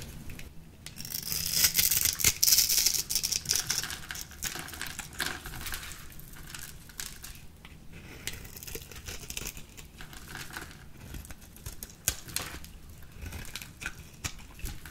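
A green, solid, dry bar of soap held in the hand has its surface scored and shaved with a small metal blade with a purple handle. The result is a run of dry, bright, crumbly scraping and crackling strokes, densest and loudest early on. It then continues as softer, quicker scratches with little low end.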